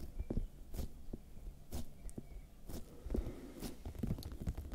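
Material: Vegetable.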